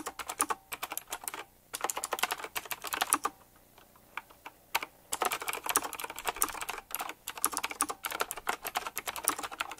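Fingertips type quickly on a full-size typewriter-style mechanical keyboard with round black plastic keycaps, chrome-look rims and a metallic frame. Dozens of sharp, bright clacks come in rapid bursts, each dying away almost instantly, with brief pauses around the 1.6-second mark, from about 3.5 to 4.5 seconds, and near 7 seconds. There is almost no low end, and the clicks centre on a crisp tone around 1.2 kHz.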